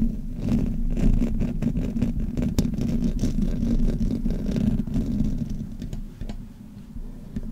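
Fingers and nails rub and scratch the sides of the hollow metal mesh grille on a black Blue Yeti microphone. The result is a dense, low, muffled rumble with quick scratchy ticks layered on top. It stays steady for most of the clip, then grows quieter near the end.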